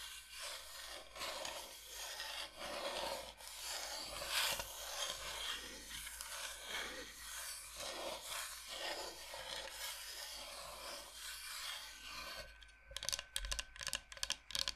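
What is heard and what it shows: Long nails scratch and tap the surface and edges of a flat, solid, thin light-wood cutting board shaped like Michigan, held close. A steady, bright, raspy scratching runs for about twelve seconds, then gives way to a quick run of sharp, dry taps at the end.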